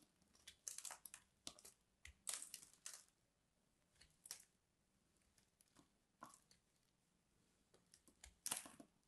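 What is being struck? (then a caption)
Bar soap. A solid purple bar of soap held in both hands is scraped with a craft knife and its scored chunks are snapped apart by thumbs. The result is a series of dry, bright crunching and crackling bursts separated by quiet pauses.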